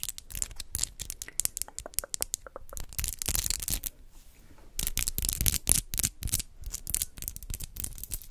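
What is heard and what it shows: Long acrylic nails decorated with rhinestones click and tap against each other close to a microphone. The result is a dense, irregular run of sharp, bright clicks with a faint low thump beneath them. A brief quieter lull falls in the middle.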